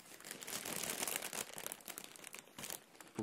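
A clear, thin plastic inflatable air cushion packaging bag with blue print, hollow and partly deflated, is grasped, crumpled and rubbed with the fingers of both hands. It gives a dense, bright crinkling and rustling that swells and fades unevenly over about three seconds. The sound ends with a sharper crunch.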